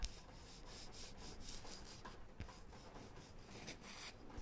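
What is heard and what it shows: A small, flat, round, solid light wooden disc is held in both hands and turned while long painted nails rub and scratch across it. The result is a quiet, steady, dry rubbing and scratching texture with bright, hissy swells and a few faint taps.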